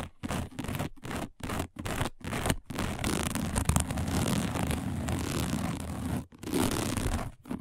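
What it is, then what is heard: Woven fiber placemat. A round, dark woven placemat of thin, flat coiled braided fiber lies on a table and is scratched fast by long acrylic-style nails on both hands. Short, dry scratching bursts separated by brief silences give way to a sustained, dense rasping scrape with a low rumbling body and a bright, crackly hiss.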